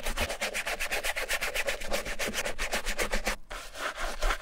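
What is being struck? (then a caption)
Canvas slip-on sneaker scrubbed with bristle brush. A wooden-handled bristle brush held in the fingers scrubs the soapy, foamy canvas upper and side of a striped Vans slip-on sneaker. Quick, steady back-and-forth strokes, about four per second, make a bright, hissing rub. There is a brief pause near the 3.4-second mark before the scrubbing resumes.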